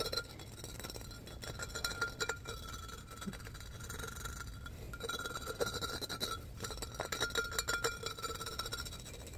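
An empty, hollow, light-blue pressed-glass pitcher with an embossed pattern is tapped and scratched with fingertips and nails, sped up to double speed. Rapid, dense clicks and bright, scratchy clinks run throughout over a faint steady hum, with quick taps that stop almost instantly.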